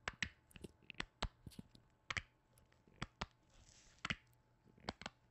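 Black-gloved fingertips tap and knock on a hollow white plastic lotion bottle with a blue cap and a plant print. About fourteen sharp, dry, hollow clicks come in irregular singles and quick pairs, each bright with a tone near 1.9 kHz and dying out almost at once. The clicks are quiet, with faint rustling between them.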